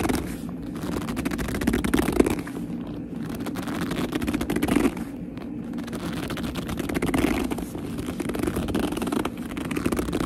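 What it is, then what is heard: Leather purse being gripped and scratched. Hands grip and clutch a black leather purse while long nails tap and scratch its surface. The result is a steady, dense stream of squeaky creaks, soft scratches and crackling rustles, centered in the low-mid range and holding an even level for the whole clip.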